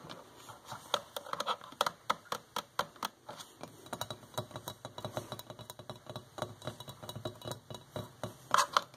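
Long fingernails tap rapidly across a hollow white porcelain electric kettle with a flower print, its fill unknown. The result is a quick, uneven run of sharp, clicky ticks with a bright edge and almost no ring, a few landing louder near the end.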